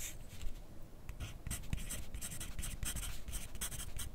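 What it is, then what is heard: Pencil writing on paper. A graphite pencil tip scratches across a thin lined paper sheet held on a clipboard on a desk as someone writes steadily. Short, bright, dry scratching strokes come one after another over a soft low rumble, with no ring after each stroke.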